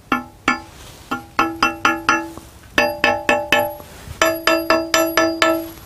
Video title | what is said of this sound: l'Amandier Gisant | c'est pas un son mat, c'est comme une cloche, la cloche du marbre, qui nous indique que ce bloc est sain